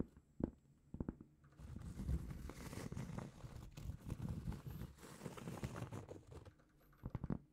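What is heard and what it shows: A large, solid, flat round cork trivet is held in both hands and tapped and scratched with long painted fingernails. A few soft, dull taps open the clip, then a steady low, crackly scratching runs through the middle, and a few more taps close it out. The sound is muted and low with almost no brightness.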